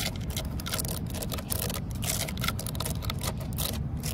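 Long fingernails scratch and tap rapidly along the grain ridges of a solid, weathered, cracked wooden post outdoors. A dense, steady stream of quick dry ticks and scrapes sits over a low rumbling undertone, with bright crackly bursts throughout.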